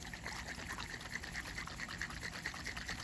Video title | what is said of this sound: Barn Fresh Bug Part 2. Will it run and drive?? | hear all that oil in there